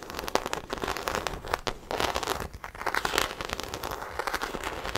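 Long acrylic nails scratch and tap the embossed surface of a small black croc-embossed faux leather shoulder bag held close to the mic. The result is a dense, crackly run of dry scraping and sharp clicks that swells and fades over the clip, with little low end.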